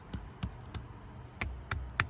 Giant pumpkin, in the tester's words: sounds solid to me. Sounds heavy.